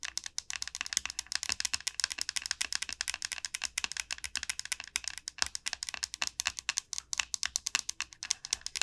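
Long nails tap rapidly on the hard shell of a large, hollow dried gourd. The result is a steady stream of dry, bright clicks with almost no low end, each tap dying away almost instantly.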